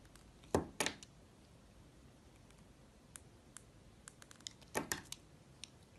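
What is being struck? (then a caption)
Soap carved with a knife blade. A utility knife blade cuts and scrapes a solid yellow soap molded as a banana bunch, held in hands with painted nails. About thirteen short, crisp clicks and scrapes are heard in a quiet space. Two louder pairs of cuts come near the start and again near the end, with lighter ticks in between.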